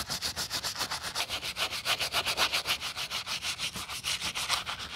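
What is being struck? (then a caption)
Rubber foam sneaker midsole scrubbed with a brush. A gloved hand scrubs a wooden-backed brush along a thick, solid white rubber/foam sneaker midsole lathered with white foam. Rapid, evenly paced back-and-forth rubbing strokes give a bright, hissy scratching with a wet, foamy texture, each stroke rising and falling in loudness.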